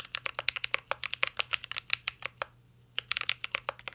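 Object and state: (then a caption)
Mechanical keyboard with plastic keycaps. Fingertips type steadily on a mint-green Cyberboard R3 mechanical keyboard with plastic keycaps and a metal case. Its short, bright, clacky key taps come in quick runs, with a brief pause just before the final second.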